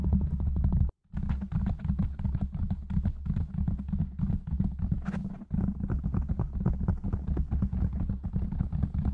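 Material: Foam.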